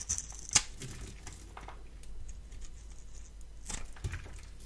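A palm-sized, solid rectangular bar of blue soap is held in one hand and shaved with a metal blade tool held in the other, the scraping and cutting lifting off flakes. Quiet, crisp scrapes and crinkly flaking sounds come in short bright bursts over a low background hum. One sharp, bright click stands out near the start.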